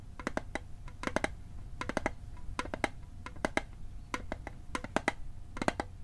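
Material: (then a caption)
Tin-plated steel. A metal Altoids mint tin is tapped in quick clusters of sharp, bright clicks with a faint ringing tone near 630 Hz. Each tap dies away almost at once over a steady low background hum.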